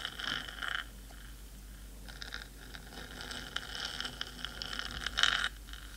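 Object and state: Metal microphone housing scratched with nails.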